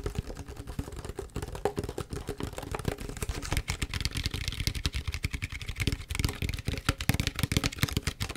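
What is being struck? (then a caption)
Large plastic PET bottle. Long fingernails tap and scratch on a large, clear, mostly empty PET plastic tea bottle, over both its green label and the bare plastic. A rapid, uneven stream of short hollow clicks with a low, thumpy body is heard, mixed with crinkly, bright scratching that grows denser toward the end.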